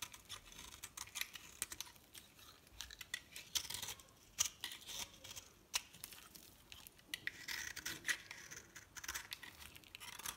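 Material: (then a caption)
Soap. A metal knife blade cuts and scrapes the remaining piece of a solid, dry blue and cream bar of soap held in the hand, shaving off crumbly pieces. The result is a quiet run of dry, crisp scratching and crackling with sharp, bright clicks and almost no low end, and each stroke dies away instantly.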